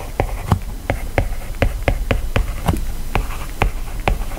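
A hand-held plastic stylus writes lines of text on an iPad's glass screen, stroking and tapping across the surface. Sharp, dry clicks with almost no ring sound at uneven intervals over a steady low rumble and faint scratchy strokes.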